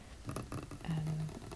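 Fingertips tap on a long-used wooden table, giving a quick run of soft, low, dull knocks with little ring. A short, low hum rises near the end of the clip.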